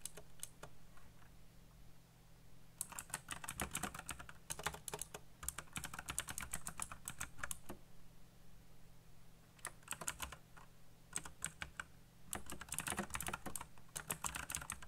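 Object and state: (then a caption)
Plastic mechanical keyboard. Fingertips type fast on a full-size backlit mechanical computer keyboard with black plastic keycaps and RGB lighting. Bursts of rapid, bright, clacking keystrokes come in runs separated by short pauses, each click short and dry. A steady low hum sits underneath throughout.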